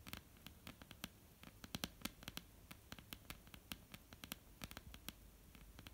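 Long polished nails of both hands tap and scratch across a solid, flat, dark wooden tabletop. Around thirty quick, dry, bright clicks land at an uneven pace with no ring after each one. Soft scratching fills the quiet gaps between them.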